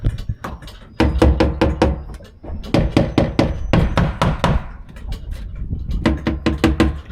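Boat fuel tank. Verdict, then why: Empty. Rapid knocks on a boat fuel tank give a low, booming, slightly ringing sound: the tank is empty.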